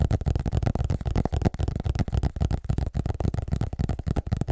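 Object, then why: Hardcover book cover. Fingertips tap and scratch the front cover of a large, solid, illustrated hardcover atlas held upright. The result is a rapid, irregular stream of dull, low-pitched knocks with very short decay, mixed with soft scratching.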